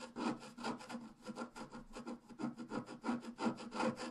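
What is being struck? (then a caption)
Scratch-art paper card scraped with a wooden stylus. A pointed wooden stylus scratches a flat, solid A5-size black-coated scratch-art card lying on a table, making continuous scratching and filling-in strokes. About fifteen quick, dry rasping strokes rise and fall in a loose rhythm, with a faint low tone near 240 Hz under a bright, papery hiss.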